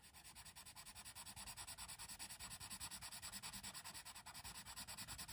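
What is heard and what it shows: A colored pencil, held by fingers with long red nails, rapidly shades and scratches over the tree area of a thin paper coloring book page. It makes a steady run of quick, bright, raspy strokes, about three per second, with a dry papery hiss and little low end.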